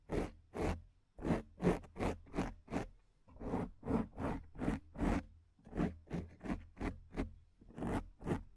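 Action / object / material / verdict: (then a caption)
scrape / foam microphone windscreen / foam / none. Long nails on both hands scratch and rub a black foam microphone windscreen in 18 quick, uneven strokes. Each stroke is a short, gritty, zipper-like scrape with a heavy low rumble and a brief hiss that fades fast.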